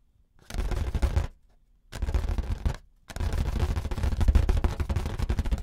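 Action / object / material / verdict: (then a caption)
tap / inflated rubber balloon / rubber / none. Fingertips and nails tap and rub the surface of a large, inflated orange rubber balloon, hollow and air-filled, held in both hands. Three bursts of rapid, dull, deep drumming come with a faint rustle: a short one, a second after a pause, then a longer, denser run to the end.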